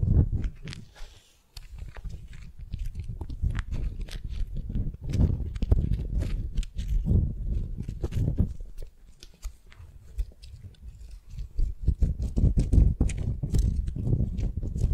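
A fist-sized solid wooden sphere wrapped in a yellow and teal beeswax-coated cotton wrap is held in both hands while long nails scratch and grip the waxy wrap over the hard ball. The result is a dense stream of soft crinkling, rubbing and crunchy scratches, heavy in low-end thump with quick bright ticks on top. The sound briefly drops quiet near the start and again mid-clip before building back up.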